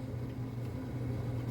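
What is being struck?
Nothing is struck.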